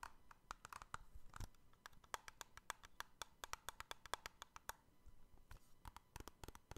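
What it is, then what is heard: Clear plastic trading card cases. Fingertips scratch and tap quickly on a row of small, hollow, clear hard plastic card cases joined together, each holding an NBA trading card, while the row is held in the other hand. The result is a dense run of sharp, dry clicks with a light hollow ring around 1 kHz and bright edges, each tap dying away almost at once, mixed with softer scratching between the louder taps.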